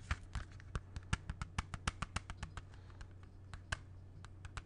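A closed, small, hollow hard-plastic CD jewel case is held in both hands and tapped with fingernails. About 22 quick, dry clicks come at an uneven pace over a steady low hum, each one short and bright with almost no ring.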